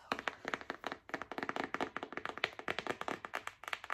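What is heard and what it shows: Long acrylic nails tap quickly on a thick, hand-sized, yellow-bordered paper envelope pack marked "letters for a year," a solid stack of paper held in both hands. The result is a rapid, uneven run of short, dry, clicky taps with a crisp bright edge, almost no low end, and no lingering ring.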